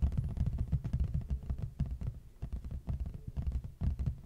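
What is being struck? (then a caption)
Large flat cardboard box. Fingertips and short nails of both hands tap and scratch the front face of a large, flat, hollow red printed cardboard box held upright facing the mic. The result is a rapid, uneven stream of soft, deep, hollow thuds, with almost all the sound below 200 Hz and each tap dying away quickly.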